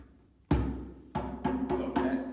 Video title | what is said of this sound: Drum Class with Allen Boyd | There's no sustain at all in the sound of the drum. There's no resonance at all.